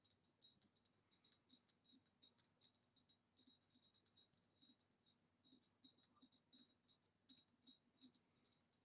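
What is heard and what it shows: Continuous rapid tapping on a green retro glass vase produces a steady stream of bright, short clinks with a clear high ring that fades quickly. The taps come in quick clusters with brief pauses between them, and they stay quiet throughout.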